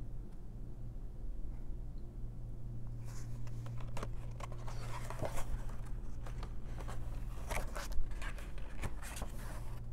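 A long nail traces and scratches across a patterned paper page of an open paper coloring book, then a hand turns the page. After a quiet start, soft, dry scratching and rustling begins around three seconds in and builds into bright, papery strokes, with the loudest swish near the eighth second. A steady low hum runs underneath throughout.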